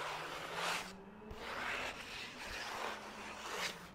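Fingertips scratch and rub the surface of a single thin white printer-paper sheet held in one hand near the microphone. Soft, bright, papery rasping strokes swell and fade in uneven passes, with a brief quiet gap between them and a faint steady low hum underneath.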